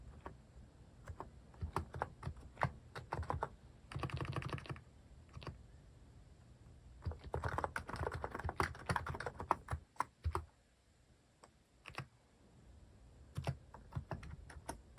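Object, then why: Mechanical keyboard with plastic keycaps. Fingertips type on a plastic mechanical keyboard fitted with cat-shaped plastic keycaps, producing quick clacking keystrokes. The typing comes in uneven bursts with short pauses between them, and a few denser stretches of rapid keypresses.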